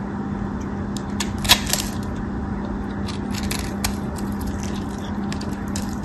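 A white solid bar of soap held in the hand is scraped and cut into small cubes with a metal craft knife. Crisp, bright scratching and crackling slices come through as short, dry bursts with almost no ring, over a steady low hum.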